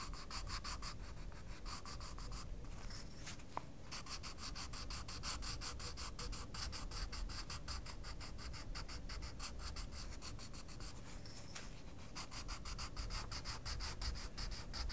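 A wooden coloured pencil scratches and rubs across the paper page of a small colouring book in quick strokes. The result is a steady, rapid, bright scratching over a constant low rumble, with brief breaks in the stroking around the 3-second and 11-second marks.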